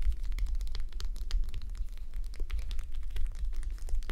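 Fingertips and long nails scratch over the eye area of a red plastic gel bead eye mask resting on a mannequin head. The result is a dense, steady stream of crisp crackling ticks and rustles, carried over a constant low hum.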